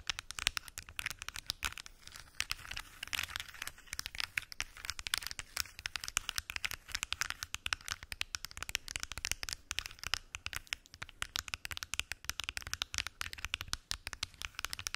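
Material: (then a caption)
Plastic. Long acrylic nails tap on the lids of a large translucent plastic weekly pill organizer with many small lidded compartments, hollow and apparently empty. A dense stream of quick, bright, dry clicks and scratchy taps continues throughout, each dying away almost instantly.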